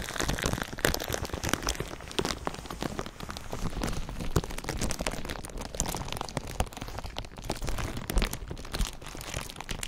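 A thin clear plastic sheet wrapped over a microphone is crinkled with fingertips. A dense, continuous crackle of sharp, short snaps spreads across the spectrum, with heavy low-end rumble from the handling. It holds steady for the whole clip, with occasional louder pops.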